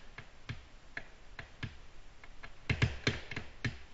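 Long natural nails tap on a flat, solid, glossy black glass tabletop, giving eleven short, bright clicks with a dull low thump under each. The taps are spaced irregularly and die away almost at once, with a few louder taps bunched near the end.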